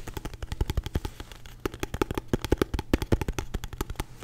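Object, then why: Aluminum-cased portable hard drive. A small, solid, palm-sized portable hard drive with a silver aluminum case is tapped fast with fingernails and fingertips. About 33 quick, dry, irregular taps sound, each a short knock with a low thud and a bright click that dies almost at once. No verdict is given on the drive.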